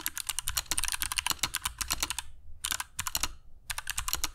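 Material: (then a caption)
Plastic. Fingertips of both hands type continuously on a compact black mechanical keyboard with dark PBT plastic keycaps and Kailh Box Jade switches, resting on a cork desk mat. Bright, crisp clicks come in rapid bursts, separated by two short pauses, with a low thump under each keystroke.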